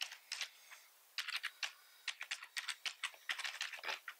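Fast fingertip typing with both hands on a full-size black plastic computer keyboard with red keys and a hollow body. About twenty quick, bright, clicky keystrokes come in bursts with short pauses, each dying away almost at once, with no low thump.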